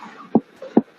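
A finger percusses the human abdomen at the right subcostal margin to check for an enlarged liver: the left middle finger rests on the skin and the right middle finger taps its middle phalanx. Two short, hollow, low-pitched thuds ring out around 230 Hz and die away almost at once. The note is tympanic, perhaps a little dull, rather than dull, suggesting the liver is at most about 1 cm enlarged, too little to feel by hand.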